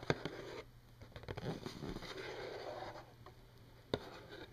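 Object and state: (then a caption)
Cardboard tissue box. Long painted nails tap and scratch the side of a hollow Kleenex tissue box made of printed glossy cardboard and filled with tissues. Sharp, dry taps open the clip, followed by a soft, steady scratching rustle with a low hollow body. Another crisp tap lands near the end.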